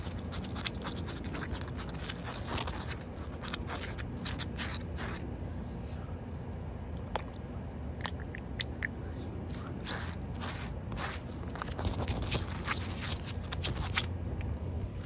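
Short white nails and fingertips scratch and tap on a solid, wet outdoor concrete slab with standing water. Many quick, bright clicks and gritty scrapes sound over a steady low rumble and hiss. Each tap dies away almost at once.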